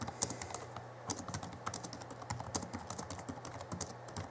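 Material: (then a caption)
Plastic. Both hands type rapidly with their fingertips on the backlit chiclet keyboard of a 2011 Alienware M11x laptop with plastic keys. The result is a quick, uneven stream of short, bright clicks that die away almost instantly, over a steady low hum.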